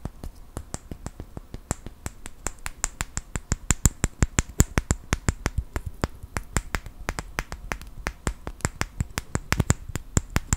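Fingertips and nails tap and click a small wooden clothespin, likely with a metal spring, held in both hands close to the mic. About 46 quick, dry clicks come in a steady, uneven patter; each is a sharp snap with a bright top and a soft low thump that dies away almost instantly.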